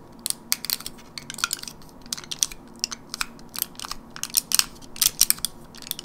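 Long nails tap and scratch across the surface of a teal printed plastic and foil gum blister pack held in a hand. The result is a rapid, irregular stream of sharp, bright crinkly clicks and scrapes that die away almost instantly, with very little low end beneath them.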